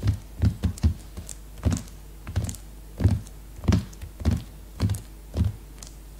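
Fingertips and long nails drum on the plastic-sealed cover of a new cellophane-wrapped hardcover notebook lying flat. Soft, dull low thuds come in irregular clusters, some with a faint bright tick from the nails, and each dies away almost at once.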